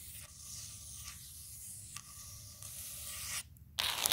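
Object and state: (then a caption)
Wooden tabletop scratched with nails. Long acrylic nails, used with both hands, scratch and tap across the grained surface of a large, round, solid wooden table slab. A steady, bright, hissing scrape runs throughout, broken by a few light ticks, then briefly drops away before returning louder and harsher at the end.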